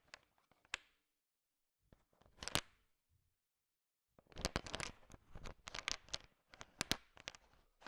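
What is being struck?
Pile of sugar-shell chocolate candies stirred with a wooden stick.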